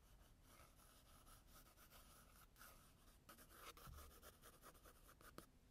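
A blue graphite pencil held in the fingers scratches and hatches lines across the tan toned paper of a spiral-bound sketchbook lying flat on a desk. The result is a quiet, continuous, dry scratching hiss made of quick back-and-forth strokes, with a low rumble underneath and a few slightly louder strokes near the end.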